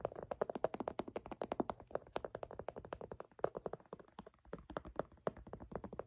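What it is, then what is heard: Canvas sneaker upper. Fingertips and nails tap and scratch the black canvas upper near the laces of an empty low-top platform sneaker held in hand. A quick stream of dry, soft taps with a mid-toned, muffled thud and brief fabric scratching, dying away almost instantly. Faint music may be playing in the background.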